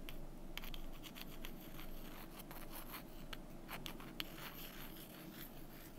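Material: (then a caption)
Wood. Long nails scratch and tap the faces of two small, solid, painted wooden number cubes held up in the hand. Soft, steady scratching runs throughout, broken by brief, bright clicks from the taps.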